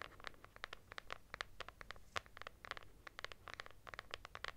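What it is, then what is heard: Fabric-covered hardcover notebook. Long nails scratch across the textured cloth cover of a lilac hardcover notebook with a solid paper block. The result is a quick, uneven run of short, dry scratching strokes with no ring, each a bright burst centered near 1.2 kHz over a quiet, low background.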